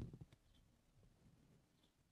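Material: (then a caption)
Fabric. Both hands scratch a soft, filled green coarse-weave fabric cushion with short blue-painted nails, then finish with flat fingers resting on the surface. Four quick, quiet, low, muffled scratches open the clip. They fade into a faint, soft rustling texture.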